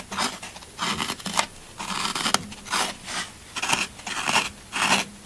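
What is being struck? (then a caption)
Floral foam block. A thin pointed black stylus scratches and digs lines into a hand-held brick of solid, crumbly green Oasis floral foam that is already gouged, shedding crumbs. Short bursts of dry, bright, crunchy scraping come in an uneven rhythm, with quiet gaps between them. Each stroke stops dead with no ring.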